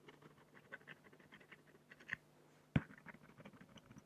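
A black fine-liner pen scratches sparse strokes across a large, flat, solid acrylic sheet, making quiet, scattered scritches and ticks over a faint low hum. A louder tick sounds near the two-second mark, followed by a sharp, brief tap just before three seconds. The scratching then carries on softly.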